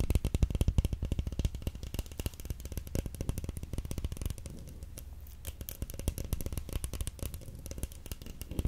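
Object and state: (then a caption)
Roll of plastic stretch wrap. A large roll of clear plastic stretch film is held up close and rapidly tapped and scratched with long nails. The result is a dense stream of quick, dull, low-pitched taps with brief scratchy patches, each hit dying away almost instantly.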